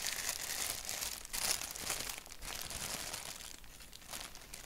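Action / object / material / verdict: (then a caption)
scrape / thin paper napkin / paper / none. Fingertips rub and crinkle a thin white paper napkin with a black doodle print. The result is a dense, bright, papery crackle with little low end, swelling into louder crinkly bursts in the first half and settling into a softer, steady rustle toward the end.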